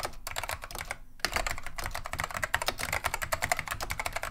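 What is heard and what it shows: Both hands type continuously with the fingertips on a beige plastic vintage Wang 725 mechanical keyboard fitted with Alps SKCM neon green/lime switches. It makes a rapid, dense run of short, bright clacks with a brief pause near the one-second mark, each keystroke dying away almost instantly.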